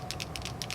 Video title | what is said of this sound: ZIG Memory System Wink of Stella Brush A to Z Letteringテクニック | there's a little shaker ball inside of it and the purpose of that is to mix up the glitter with the pigment ink